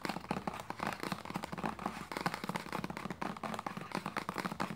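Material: Plastic.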